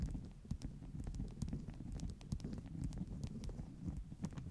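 Long nail tips tap along the top edge of a stack of flat beeswax-coated cotton wraps. Quick, dull taps land in an uneven run, each a soft, low thud with a faint bright click. The taps die away almost at once.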